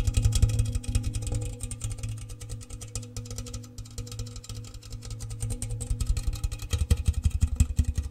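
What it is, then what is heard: Metal biscuit tin tapped. An open, empty, medium-sized round metal gingersnap biscuit tin, red printed outside and bare tin inside, is held up close while fingers and nails tap fast on the outside of its base and sides. The rapid, uneven taps produce a dense stream of short, hollow knocks with a deep booming resonance and quick decay.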